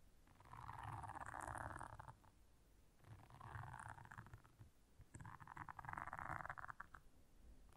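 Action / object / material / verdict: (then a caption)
scrape / silicone bristle scrubber pad / silicone / none. Long nails scratch the bristles of a blue silicone scrubber pad. The result is three bursts of dense, rasping scratching centered in the midrange, separated by quieter pauses, with a low rumbling undertone.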